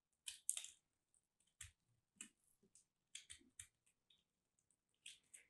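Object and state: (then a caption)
Starch-coated soap chunk being cut. A craft blade shaves and cuts a small, solid lilac piece of soap coated in starch, held in the fingertips, breaking it into crumbs. Nine quiet, crisp, bright crunching scrapes sound in short bursts with brief silences between them. Each one ends almost instantly with no ring.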